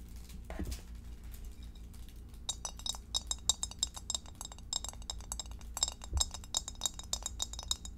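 Long acrylic French-tip nails tap and click on the walls and bottom of a clear, empty, hollow rectangular glass meal-prep dish with a center divider and no lid, about 20 cm across and held up in both hands. After a quieter opening with a brief soft rustle and a low steady hum underneath, a rapid, uneven run of sharp, bright glassy clicks and chinks follows, each dying away almost instantly.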